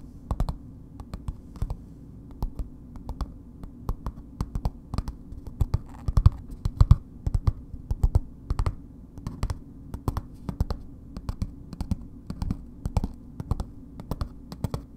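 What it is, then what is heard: Paper-wrapped bar soap. A solid bar of soap in a red paper wrapper is held and tapped on its faces with long nails. Dozens of short, dry clicking taps come at an uneven pace, each dying away almost instantly over a steady low background hum.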